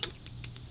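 A fingernail taps twice on a ceramic, hand-painted Miami Florida flamingo salt and pepper shaker set with a cylindrical shape and pink accents. It makes a sharp, bright tick followed by a softer one, with almost no ring over a faint low hum.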